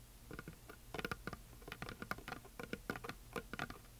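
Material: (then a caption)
Wood. Long nails tap and scratch near the top edge of a flat, solid, heart-shaped painted wooden plaque with glitter. The result is a quick, irregular patter of short, dry clicks with a scratchy, mid-pitched tone and almost no ring.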